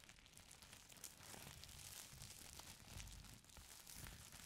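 Fingertips and nails press, squeeze and scratch a folded stack of thin purple tissue paper. They make a continuous, quiet stream of bright crinkles and rustles with soft low thumps underneath.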